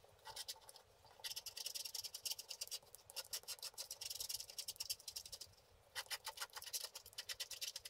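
A wooden stick scratches the lower part of a flat, wax-coated scratch art card lying on a table. Rapid, bright scratching strokes come in three dense bursts, with brief quieter pauses just before the 1-second mark and around 5.5 seconds.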